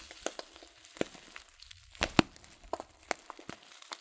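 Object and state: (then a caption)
Crinkling paper tea packet. A filled, glossy coated-paper tea packet of loose-leaf tea is turned and crinkled in the hands. It gives soft, irregular crinkles and sharp, bright crackles over a quiet background, with the loudest snaps near the middle of the clip.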